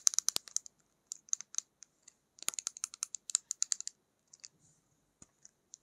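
A slim, clear plastic lip gloss tube about 8 cm long, with a black cap and holding pink gloss, is held in both hands and tapped and scratched with long pink acrylic nails. Quick clusters of crisp, bright clicks and light scratches come in uneven bursts with short pauses. Each tick is dry and stops instantly, with no ring.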